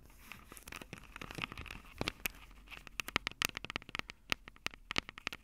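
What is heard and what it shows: Long purple acrylic nails tap and scratch the two small crossed metal mesh microphone capsules on the hollow plastic body of a Tascam DR-05 handheld recorder. Close, bright clicks and crinkly scratching scrape over the capsules, the taps quickening into a dense run of sharp, dry ticks that stop instantly with no ring.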